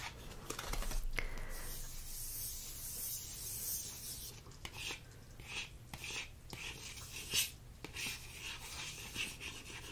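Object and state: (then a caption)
Paper greeting card being scratched. A fingertip and short fingernail trace and scratch across the printed surface of a thin, flat paper thank-you greeting card, dark navy with a floral border and "Thank You" script, held in one hand. A soft, airy rubbing hiss fills the high range, broken by sharper, brighter scratches, over a faint steady low hum.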